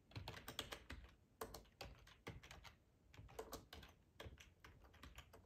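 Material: Plastic.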